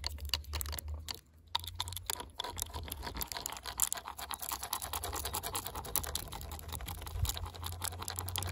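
Fingers wearing brass metal thimbles rapidly scratch and tap the cut end grain of a solid split firewood log in a woodpile. The result is a dense stream of short, bright, clicky scrapes and taps over a steady low hum, with a brief pause just after the first second.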